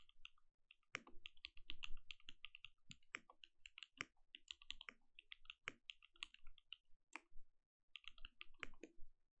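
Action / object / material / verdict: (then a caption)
tap / mechanical keyboard with plastic keycaps / plastic / none. Both hands type with their fingertips on a compact mechanical keyboard with plastic keycaps and a glowing case. It makes a steady run of quick, crisp key clacks, each pairing a bright click with a soft low thud and stopping almost at once. There is a brief pause in the typing near the end.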